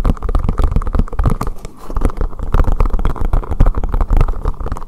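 Fingertips tap quickly on the top and sides of a hollow green collapsible silicone bowl turned upside down over the microphone. The rapid, continuous taps make deep, muffled thumps that end almost instantly, like soft drumming. Nearly all the sound sits in the low range around 74 Hz, with a lighter mid-range layer and no bright highs.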